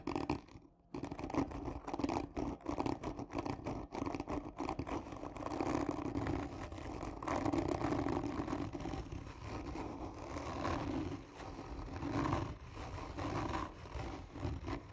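Long nails on both hands scratch hard and slowly across a hollow, black textured cardboard gift tube. The result is a steady stream of dense, rasping scrapes with a hollow, boxy resonance in the low-mids, after a brief pause near the start.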